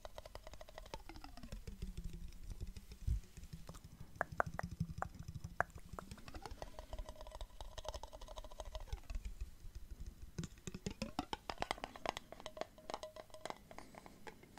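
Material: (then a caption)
Glass. A clear glass jar with a metal lid and some liquid inside is held sideways close up while fingers tap it and the jar is shaken. Rapid, quiet clicks and taps run throughout over a low slosh, while the liquid's movement makes gliding tones that rise and fall between low and mid pitch.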